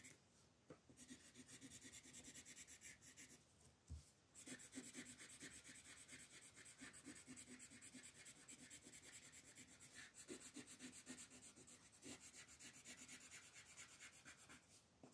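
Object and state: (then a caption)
Colored pencil on a paper coloring page. A wooden colored pencil rubs steadily across a flat paper coloring book page on a table, filling in color while long-nailed fingers rest on the page. Rapid, bright, scratchy strokes run almost continuously at a quiet level, with a brief pause just before the 4-second mark.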